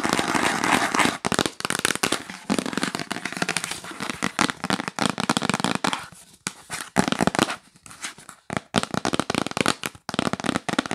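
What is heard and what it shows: A yellow printed cardboard gift box, held upright, is tapped fast and aggressively with fingernails. The result is a dense, crisp stream of dry clicking taps with a bright, crackly edge and almost no ring. The rapid bursts are broken by short silent gaps.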